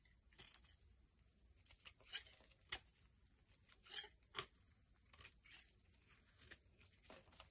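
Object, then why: Bar of soap scraped with a small blade. A hand-sized solid white soap bar, held in the hand over a wooden surface, is scraped and carved with a small black blade, so shavings pile up and fall off. Quiet, bright scraping and crinkly crunches come in uneven bursts, with several sharper peaks standing out.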